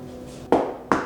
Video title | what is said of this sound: BEST LAP DESK OF 2022 SIDE BY SIDE COMPARISON | That sounds like loose particle board.